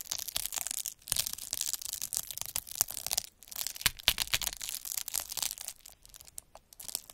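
A metal-needle derma roller is rolled back and forth across a clear plastic bubble wrap sheet with air-filled bubbles, scratching its surface. The result is a dense, bright crackling and scratching with sharp, dry ticks and almost no low end, coming in strokes separated by brief pauses.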